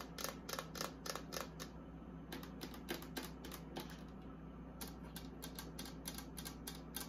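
Long acrylic nails tap and scratch the inside shelves and walls of an empty, hollow, small pink and white plastic mini beauty fridge with its door open. Quick, irregular, bright clicky taps land about three or four per second, with a brief lull near the two-second mark. A steady low hum runs beneath them.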